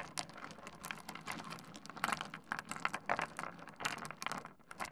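Fingertips push, rake and tap small, solid stone pebbles spread across a wooden desk. A quiet, steady stream of quick dry clicks and rattling scrapes follows, bright and crisp with almost no ring after each contact.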